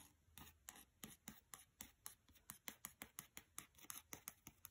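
Long fingernails tap and scratch the cover of a paperback copy of "Mistborn" lying on carpet. About twenty quick, crisp, bright clicks come in a steady run, with soft scratchy rubbing between them. The sound is quiet and dry, with each tap dying away almost at once.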